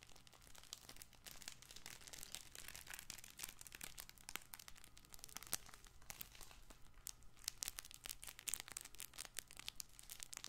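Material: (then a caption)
Fabric. A soft, multicolored fabric crinkle toy ball for babies is gripped, squeezed and scratched with fingers and short nails. This makes a dense, bright crinkling and crackling with quick tearing-like rustles over a steady low hum. Sharper crackles stand out now and then throughout.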